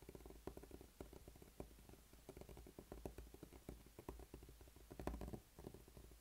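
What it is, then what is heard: Rubber spiky massage ball. A small, solid, blue spiky rubber massage ball is rubbed and pressed with the fingertips on a dark tabletop. It makes a quiet, muffled run of soft, low, pattering scrapes and squeezes, with brief sharper ticks among them and little high content.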